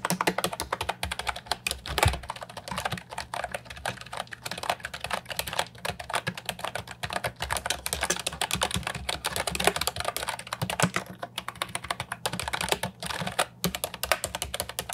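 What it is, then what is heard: Plastic keyboard with round keycaps being typed on. Fingertips type steadily on an Ajazz 308I, a compact hollow plastic keyboard with round typewriter-style retro keycaps. The result is a continuous run of quick, dry clacks with little ring. They have a mid-pitched, bright plastic tone over a faint low hum.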